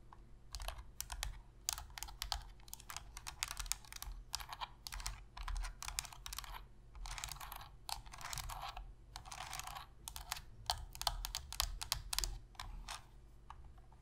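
Long pink fingernails tap and scratch the hollow plastic shell of a black PS3 controller, turned to show its top edge. Quick, dry, clicky taps with bright highs come in rapid uneven runs, broken by longer rasping scratches. A steady low hum runs underneath the whole time.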